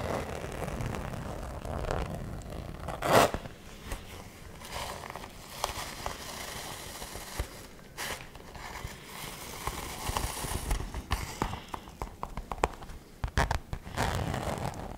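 A hollow, apparently empty fuchsia glitter fabric cosmetic pouch with a zipper is held in both hands while long nails tap and scratch its glittery surface. Soft scratchy rasps mix with many quick, light taps, plus a louder crinkly burst near the start and clusters of sharp clicks toward the end.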